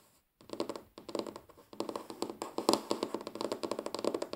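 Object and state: Wooden tabletop.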